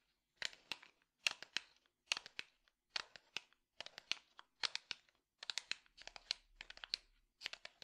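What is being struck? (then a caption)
Small light wooden box. A small, hollow, light-wood box held on the left side is tapped and scratched with the fingertips. Quick, dry, bright taps come in short clusters with faint scratchy rustles between them. The sound is quiet and crisp, with almost no low end.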